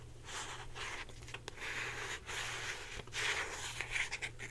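Long painted nails scratch a hand-sized, hollow blue plastic Secret deodorant stick with a cap, held in both hands. The result is a continuous bright, hissy scraping in uneven swells over a faint steady low hum.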